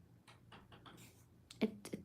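A tool taps a UV resin necklace pendant piece to check whether it has dried: a run of light, quick ticks is followed by two sharper, louder clicks with a bright, glassy snap and almost no ring. The hard, glass-like tap shows the resin has fully cured.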